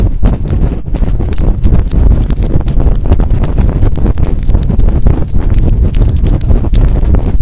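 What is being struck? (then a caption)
Synthetic-fur microphone windscreen. Long fingernails scratch and rub fast and hard over a large fluffy synthetic-fur windscreen covering a microphone. The result is a loud, continuous, deep rumbling rustle with rapid scratchy bursts and almost no high end.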